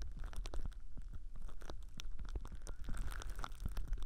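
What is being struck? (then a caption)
Thin plastic cling film. Fingertips squeeze and crinkle thin clear plastic cling film wrapped around a binaural ear microphone, with a hand resting on top. The sound is a close, dense stream of crackly crinkles and soft pops over a deep, muffled low rumble from the pressure on the mic.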